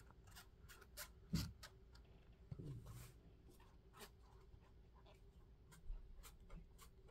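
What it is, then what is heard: Foam clog. Fingertips tap and scratch the strap, upper and textured sole of a hollow, empty yellow Crocs-style molded foam clog with holes and a strap, held in hand. The result is quiet, dull, low taps mixed with soft, scratchy rubbing, with a few slightly louder taps along the way.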